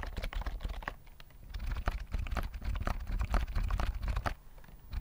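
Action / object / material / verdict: tap / plastic computer keyboard with round keys / plastic / none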